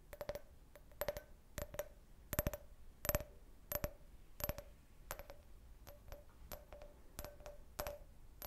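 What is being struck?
Can-shaped glass drinking cup.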